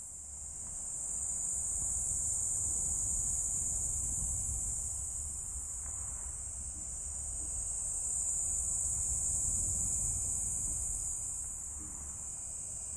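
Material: Nothing is struck.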